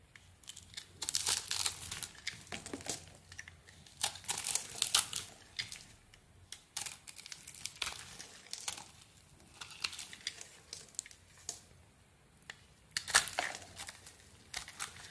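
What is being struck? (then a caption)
Bar of soap cut with a metal blade. A metal blade scrapes and cuts small cubes out of a solid white soap bar with purple glitter remnants and scored grid cuts, held in the hand. Soft, bright, crinkly scraping and crumbling comes in quick clusters of tiny crisp snaps, separated by brief quiet pauses. The sound is quiet and mostly high-pitched, with almost no low end.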